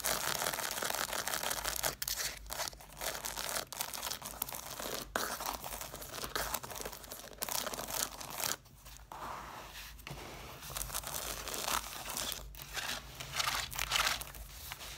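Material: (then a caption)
Paper. Long nails scratch and tap the paper page edges of a stack of red, cloth-bound hardcover books. The result is a dense, crackly, papery rasping with bright high hiss and quick, dry taps, broken by a few brief pauses.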